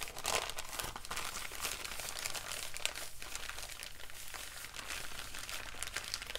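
A small, empty, wrinkled brown kraft paper bag is held up in the hands and crinkled and crumpled with the fingertips. A steady run of dry, bright crackles and rustles continues throughout, with sharp crisp snaps rising above the constant papery texture.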